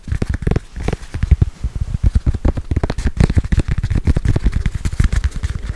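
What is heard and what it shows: A small, solid red and black soccer-pattern foam stress ball held in both hands is tapped and scratched rapidly with long acrylic nails. The result is a dense stream of dull, low thumps and soft crackling scratches with almost no ring.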